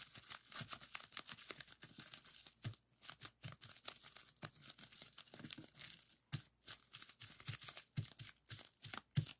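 Fingertips of both hands press and pop the bubbles on a folded strip of clear plastic bubble wrap resting on a table. The result is a quick, steady run of sharp, dry pops mixed with crinkling and crackling plastic. Each pop is bright and snaps off almost instantly, with brief quiet gaps between bursts.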